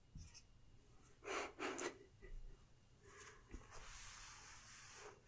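A woman writes with a felt-tip marker held in her fingers on a large, solid, flat wall-mounted whiteboard, the tip rubbing and squeaking across the glossy coated surface. Four short, separate strokes give quick scratchy squeaks, then a longer, steady, bright squeaking stroke runs to the end.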